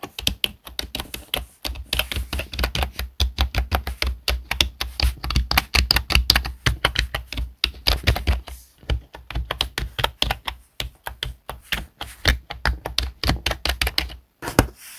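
Fingertips of one hand type and tap on the keys of a black plastic HP desktop keyboard. Rapid, crisp plastic clicks with bright, sharply decaying attacks run in quick bursts over a steady low hum, with brief pauses near nine and fourteen seconds.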